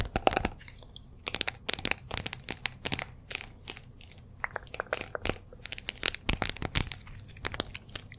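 Long nails tap and scratch the outer wall of a small cream speckled glazed ceramic jar or candle vessel held in both hands near the microphone. Rapid, uneven clusters of sharp, bright clicks mix with crunchy, crinkly scratching, each tap cutting off almost instantly.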